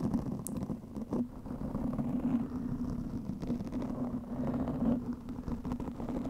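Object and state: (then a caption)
Foam microphone windscreen being scratched. Long nails scratch quickly over a soft, porous black foam windscreen on a microphone. The result is a dense, muffled, rumbling scratch with a steady low hum underneath and almost no bright content, swelling and easing without clear gaps.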